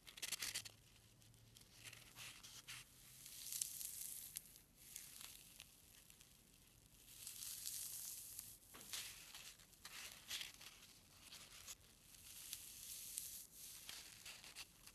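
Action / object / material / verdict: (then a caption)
scrape / foam packing peanut / polystyrene foam / none. A single small white foam packing peanut is squeezed and twisted between fingertips, giving a crunchy, squeaky crackle. The bright, high-pitched sound comes in several longer swells across the clip, with a faint low hum in the background early on.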